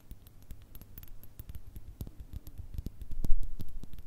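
Long red nails tap rapidly on the sides of a small clear glass jar with a cork stopper, partly filled with small pink and metallic items and held between two microphones. Many quick, light taps give short, bright clicks over a soft low thump, with no ring. The tapping grows louder toward the end.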